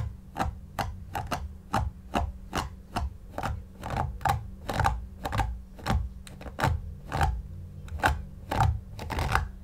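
A white paddle brush with pin bristles is pulled repeatedly through a soft, stuffed, long-pile synthetic shag faux fur pillow while the other hand steadies it. Each stroke makes a short, scratchy swish with a low, muffled rumble and a faint bright crackle at the tip. The strokes come at an uneven pace and fade quickly, over a steady low hum.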